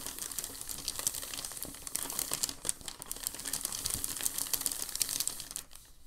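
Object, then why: Thin packing paper sheet. A large, thin sheet of crumpled packing paper is handled and flattened while fingertips rub across it. Dense, bright crinkling and crackling runs throughout, with many quick, sharp snaps rising above a steady rustle. A faint low hum sits underneath, and the sound thins out near the end.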